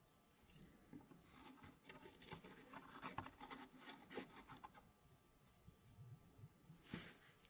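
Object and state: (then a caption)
Wooden puzzle pieces. Fingertips push and rub thin laser-cut wooden pieces against each other and against a square wooden fractal tray puzzle. Quiet, soft patter of small clicks, taps and dry scraping follows, with a brighter, sharper click near the end.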